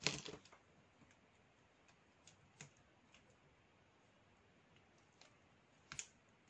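A flat, solid slab of dry black soap held in the palm is scraped and shaved across its cut face by a metal blade. Dry, bright scraping bursts sound out, with a louder cluster at the start and a sharp one near the end, separated by quieter, scattered flicks over a faint hiss.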